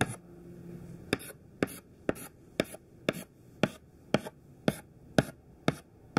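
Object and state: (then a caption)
Chalk tapping on a chalkboard. A thin white classroom chalk stick makes repeated short tap-strokes on a black chalkboard. Each stroke is a quick, dry, scratchy tick with a bright edge, coming at roughly two per second with slightly uneven spacing. The strokes sit over a quiet background, with a faint low tonal hum near the start.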